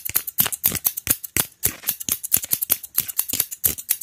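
A solid, hand-sized, light-brown wooden hair comb with long teeth is held in one hand while the fingertips of the other hand scratch and flick along its teeth. The result is a fast, uneven string of short, dry, bright clicks and scratchy rasps, each dying away almost instantly, with little low-end weight.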